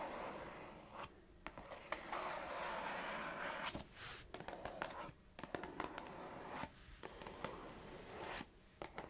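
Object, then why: Small cardboard biscuit box. Long acrylic nails tap and scratch across the surface of a small, hollow orange Organix gingerbread cardboard biscuit box. Soft, papery scraping strokes alternate with sharp, dry taps that stop almost instantly, all at a low, close volume.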